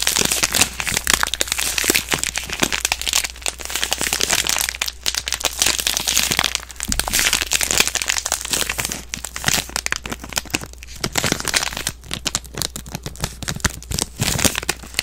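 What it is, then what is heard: Plastic-wrapped soap bar. A soap bar in a crinkly plastic wrapper is handled and crushed between fingers with long nails. Dense, bright crinkling and crackling runs continuously for the full fifteen seconds in quick, overlapping bursts, over a faint steady low hum.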